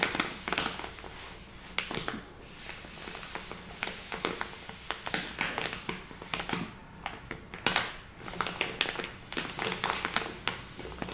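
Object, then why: Soft plastic bag of flour. A medium-sized soft plastic package full of lupin flour lies flat while two hands with long red nails press, rub and tap its surface. Dense, bright crinkling and soft squishing sounds are heard, punctuated by many short, sharp taps and crackles.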